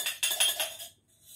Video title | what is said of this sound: STD-2(2021- 2022) Exercises + Game The listening Game | you can use a glass and a spoon to make a noise like this